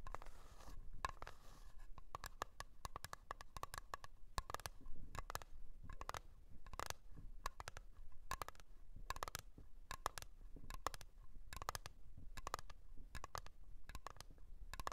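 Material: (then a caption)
Metal. Long nails tap and scratch the lid of a small round blue metal Nivea cream tin standing on its edge. The quiet, steady stream of quick, dry taps each carries a brief metallic ping near 1.2 kHz, broken up by soft scraping strokes across the lid.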